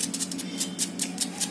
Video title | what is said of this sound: चविष्ट पोष्टीक मुंग वडे | आवाज तर बघा त्याचा, एकदम कडक आवाज येतो असं